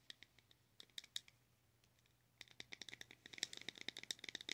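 Long acrylic nails tap the lid of a small, round, closed pink plastic blush compact held in the hand. A few scattered, bright plastic clicks come first, then a short pause, then a quicker, denser run of tapping with very short ring around 3.9 kHz. A faint steady low hum sits underneath.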